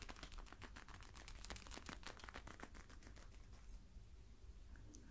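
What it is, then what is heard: Small stress balls tapped. Rapid fingertip taps, around twenty in about three and a half seconds, each a short, dry, crinkly tick with no ring, before the tapping stops and only a quiet room remains. Small squeezable stress balls give this papery, crunchy texture rather than a clear knock.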